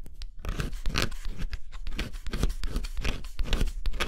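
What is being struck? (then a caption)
Cardboard puzzle pieces scratched with a stylus. A stylus scratches the coating off thin cardboard pieces of a scratch-off jigsaw puzzle in quick strokes. Rapid, dry, rasping scrapes come in short, bright bursts over a dull low rumble, with almost no ring after each stroke.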